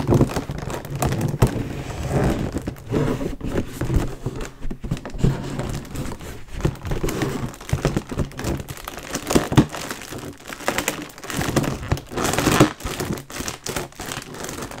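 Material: Metallized film.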